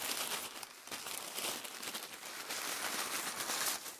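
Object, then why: Thin tissue paper sheets. Several thin, light sheets of mint green, white and faint pink tissue paper on a dark surface are crinkled, folded and rubbed between both bare hands, fingers and palms. The result is a steady, bright, dry crinkling and crackling with soft swells and almost no low end.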